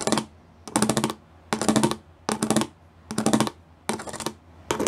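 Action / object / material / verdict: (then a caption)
tap / plastic studded sheet / plastic / none. Fingertips and nails tap and scratch over the studs of a gray plastic studded sheet in short bursts of rapid, bright clicking, separated by brief quiet pauses. Each burst is a dense patter of crisp plastic ticks with a faint low hum beneath.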